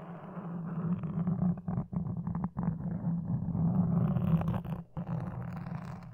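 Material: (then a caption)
Foam. Toothpicks held in long dark nails scratch and poke a black foam microphone windscreen. The result is a dense, muffled, rumbling scrape concentrated in the low range, broken by a few brief silent gaps.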